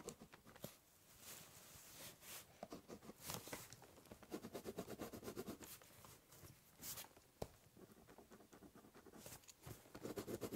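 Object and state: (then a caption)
Pen scratching on cardboard. The tip of a ballpoint pen scratches and scribbles across the surface of a large, hollow, brown corrugated cardboard box. It makes quick, uneven bursts of dry, raspy scraping with bright high hiss and a hollow papery body. Short strokes alternate with longer continuous scribbles, and a few sharper taps stand out.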